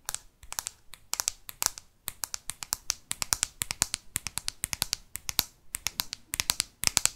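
A hand-held smartphone in a solid, hard black plastic case is tapped and scratched on the back with long fake nails. The result is a rapid stream of short, dry, bright clicks with no ring, grouped in quick bursts with brief gaps between them.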